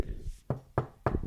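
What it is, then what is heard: Wooden desk knocked. Knuckles knock on a wooden desk four times, knocking on wood for luck. Each knock is a short, dull, low thud that dies away almost at once.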